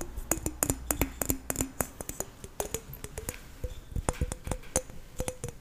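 Fingernails tap and scratch the skin of a green apple held in the hands. A quick series of short, dry clicks with bright edges and a faint low tone that rises slightly in pitch, over soft scratching between taps. Each tap dies away almost instantly.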